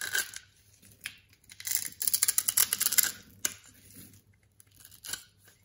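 A solid lavender-purple, palm-sized bar of soap is held in one hand while an orange box-cutter blade scores and scrapes its face. Irregular bursts of crisp, bright scraping and crackling build to a dense middle stretch, then thin out to scattered ticks as small cubes and powder break off.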